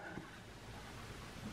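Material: Nothing is struck.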